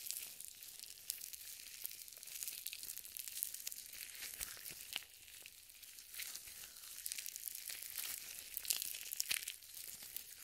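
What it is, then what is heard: Lotion-coated nitrile gloves. Purple nitrile gloves coated in white lotion are clasped, wrung and rubbed together just above the microphone. The result is a steady, bright, wet crackling and squelching made almost entirely of high frequencies, dotted with many short, sharp sticky snaps.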